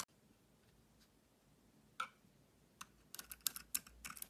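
A utility knife blade scrapes a solid yellow and white Dalan bar soap with a green core, held in hand. Nine short, crisp, bright scraping sounds are heard in a quiet setting: isolated scrapes at first, then a quicker cluster of scrapes toward the end.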